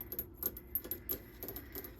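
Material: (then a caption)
Metal. Fingertips tap a series of light, quick taps on a metal microphone arm that clamps onto a desk and holds a Yeti microphone. Each tap is a soft, dry click with a bright metallic tick and almost no ring, made as an ASMR trigger.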